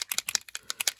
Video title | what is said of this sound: Dec Daily 11,12,13 | you can hear the little ball in there